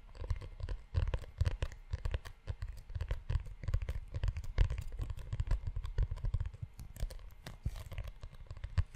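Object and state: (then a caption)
Leather-covered notebook. Fingertips tap and scratch the spine and cover of a closed brown leather-bound notebook. Dense, soft, irregular taps with low thumps and dry scratching run steadily throughout.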